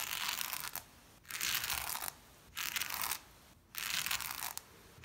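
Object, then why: Shag fabric rug brushed with a small lint brush. A small blue-handled lint brush or scrubber pad is pushed and rubbed across a brown and black patterned shag pile rug with a finger on its handle. Four bristly, crunchy scrubbing strokes are heard, each a bright, hissy rasp separated by short quiet pauses.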